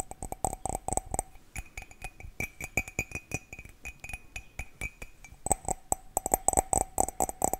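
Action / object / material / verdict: tap / ceramic mug / ceramic / none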